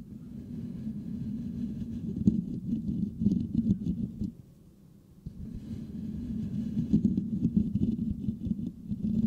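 Fingertips of both hands scratch the hollow metal mesh grille of a Blue Yeti microphone, making a dense, low, hollow rustling rumble with quick scratchy ticks. The scratching pauses briefly midway, then resumes just as busily to the end.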